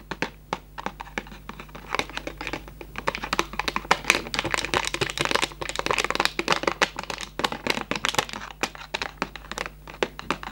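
A hollow Raffaello cardboard candy box is opened, and its flaps and plastic window are handled and rubbed with fingertips. Dense, bright crinkling and rustling follows, with many short, sharp ticks and scratches that stop almost instantly.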